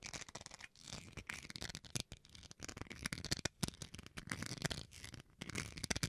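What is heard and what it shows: Fingernails scratch along the edge and surface of a small, solid white plastic rice paddle held edge-on. The result is a dense run of quick, dry, crackling scratches with a bright, gritty texture and some low body, each stroke stopping short with no ring.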